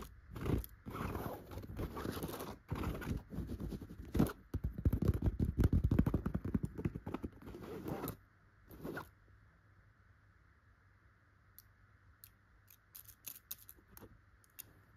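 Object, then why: Chenille fabric pillow. Long, pointed gold glitter nail extensions scratch across a soft, stuffed yellow chenille pillow with raised tufted dots, making dense, rapid scratchy rustles for about eight seconds. A short burst of scratching follows, then the sound drops to a faint steady hiss broken by a few light, sharp ticks.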